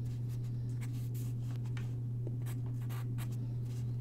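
A graphite pencil sketches on a single white sheet of paper lying on a wooden desk, its tip scratching across the paper. Soft, brief scratchy strokes rise into the highs over a steady low hum that dominates the clip, and the overall level stays quiet and even throughout.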